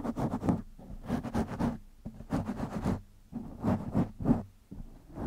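Fingertips of both hands scratch a black foam windscreen on a microphone, making quick, rhythmic bursts of dense, rustling scratches in clusters separated by short pauses. The sound is heavy in the low end with a muffled hum around 230 Hz and little high-end content.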